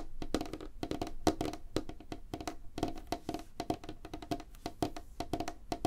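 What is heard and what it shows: Fast fingertip and nail tapping with both hands on a light, solid wooden tabletop makes a dense run of quick, dry taps. Each tap is short with almost no ring and a woody tone centered around 300 Hz. There is little high content, and the irregular flurry stays steady for the whole clip.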